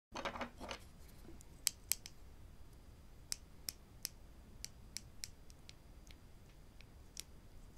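Small solid wooden clothespins with metal springs, one held in each hand, are tapped and clicked together with the fingertips and clipped open and shut. A brief rustle opens the clip, followed by a series of sharp, bright, well-spaced clicks over quiet background hiss.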